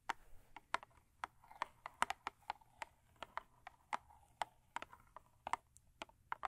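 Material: Cardboard.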